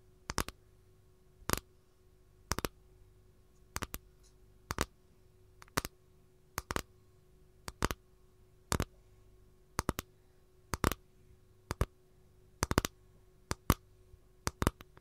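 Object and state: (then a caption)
Capiz shell tray tapped with nails. Long gold nails tap along the thin rim of a capiz shell tray held edge-on, making about fifteen quick clusters of two or three sharp, dry clicks roughly once a second. Each tap dies away almost at once, with no ring, over a faint steady low hum.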